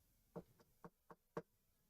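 Four knuckle knocks on a pine wood surface, done for luck, each a short, dull thud with a low-mid body and almost no bright content. Every knock dies away almost instantly with no ring, over a quiet background.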